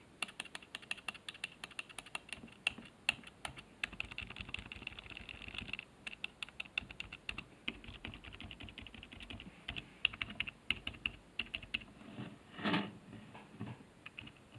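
A fingertip presses the right-side keys of a black plastic HP keyboard resting on a wooden desk. A steady run of sharp, bright plastic clicks taps away with almost no ring, and a brief, louder, broader press sounds near the end.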